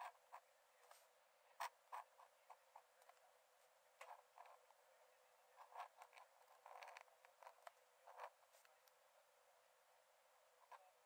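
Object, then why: Metal pen nib on paper sketchbook page. A metal nib in a wooden dip-pen holder scratches thin lines onto the cream paper page of an open sketchbook lying flat on a dark desk while drawing. About nineteen short, quiet, dry scratches and ticks come in irregular bursts, centred in the midrange with a faint high hiss and no low end. Each stroke dies away almost instantly.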